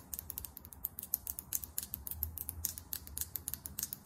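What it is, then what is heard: Lip gloss tube with plastic cap. Long almond acrylic nails tap rapidly on a small Fenty Gloss Bomb Heat lip gloss tube, with a clear plastic/glass-look body filled with gloss and a chrome-finish plastic cap. The result is a quick stream of sharp, dry clicks that are bright and high, with almost no ring, over a faint low rumble.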